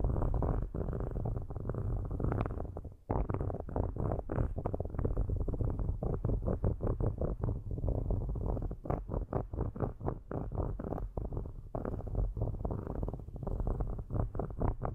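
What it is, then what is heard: Metal microphone grille being scratched. Metal stick tips scratch the metal mesh tops of two black microphones, with long nails visible, giving a dense, low rumbling scrape of rapid rough strokes. The sound is dark and heavy, with almost nothing bright, and it stays steady apart from a brief dip near the three-second mark.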